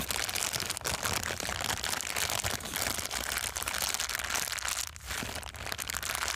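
An empty, thin, transparent plastic bag is crumpled and squeezed between palms and fingers, producing a dense, continuous crinkling and crackling that is mostly high and bright. The rustle stays steady for the whole clip, easing briefly near the five-second mark before resuming, over a faint low hum.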